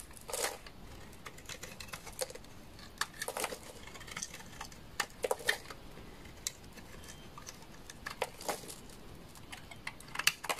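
A solid beige bar of dry laundry soap, held in the hand, is shaved into curls with a utility knife. Short, crisp scraping strokes come in irregular bursts over a quiet background, with a dry, bright texture and almost no ring after each cut.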